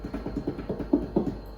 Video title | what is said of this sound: How To Make A Simple Loaf of Bread / Corona Virus / Covid 19 / 2020 | They should sound really hollow. That's how you know when it's ready